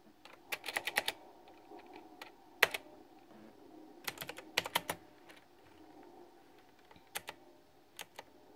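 Fingertips with short nails tap rapidly on a full-size, backlit, pink flower-themed plastic retro typewriter-style mechanical keyboard with round chrome-rimmed keycaps, resting on a fuzzy mat. About 18 sharp, bright clicks come in quick irregular bursts separated by short pauses. A faint steady hum sits underneath.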